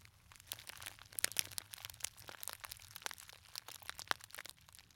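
A small, hollow gold glitter fabric clutch purse with a metal clasp is held close to the microphone and squeezed and crinkled with the fingers. The result is a soft, steady stream of dry, bright crackles and crunches, with sharper clicky snaps standing out now and then. There is almost no low end and each crackle dies away at once.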